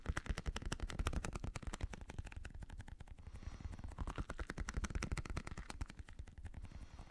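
A small translucent blue squishy stress ball, a rubber skin filled with gel beads, is held in one hand while a fingertip and nail tap it rapidly. The result is a fast, steady stream of dull, soft thuds with very short, dry clicks, mostly deep and low with a faint brighter tick on some taps.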